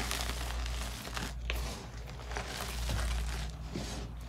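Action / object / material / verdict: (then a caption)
scrape / block of gym chalk crushed between fingers / magnesium carbonate / none. A pile of loose white gym chalk (magnesium carbonate), soft, crumbly and solid, is squeezed, crushed and rubbed between the fingertips and short nails of both hands, and crumbs fall back onto the pile. Steady soft crinkling and crunching runs throughout with faint bright grit, over a constant low hum.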